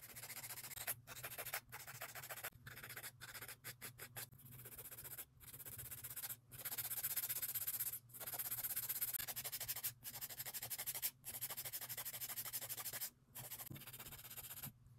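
A gloved hand rubs a white and grey emery board over the surface and sides of long, solid acrylic nail extensions, filing them. Bright, gritty rasping strokes come in runs separated by brief pauses, over a faint steady low hum.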